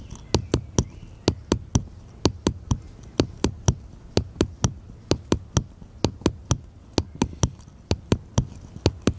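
A small, solid, unfinished light wooden paddle-shaped piece is held upright in one hand and tapped with the fingertips of the other hand. Thirty short, dry knocks come in steady groups of three, each a low, hollow thud with a bright click that dies away almost instantly.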